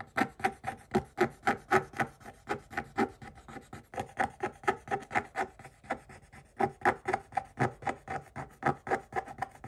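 A pointed wooden stick scrapes the black scratch-off layer of a flat coated holographic paper page in a spiral-bound Paw Patrol scratch book held in one hand, and black flakes build up on the page. About 34 quick, dry raspy strokes come in a steady, slightly uneven rhythm of roughly four per second. Each stroke has a scratchy, papery tone centered near 800 Hz with bright edges and stops short with no ring.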